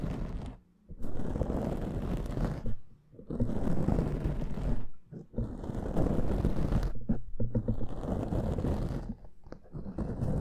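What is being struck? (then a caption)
Foam microphone windscreen. A black foam microphone windscreen is scratched with the fingernails of both hands, giving a dense, low, rumbling scratch close to the mic. Bursts of rough scraping run for a few seconds each, broken by brief pauses near 0.8, 3 and 5 seconds.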